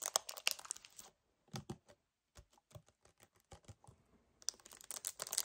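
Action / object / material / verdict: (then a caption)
tap / paperboard kefir carton / paperboard / none. Both hands grip a hollow 1 L white paperboard kefir carton while fingernails tap fast on its front. The result is quick, dry, bright taps and crinkly crackles in irregular bursts, separated by short silent gaps.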